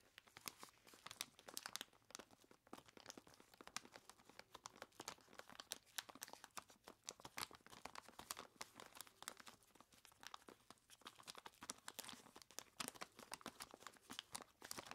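Clawed gloved hands grip the sides of a large clear plastic bag full of ice cubes and squeeze it, crinkling the plastic. Dense, quiet crackles and sharp crunchy clicks fill the clip, bright and high with almost no low end. Each snap dies away instantly.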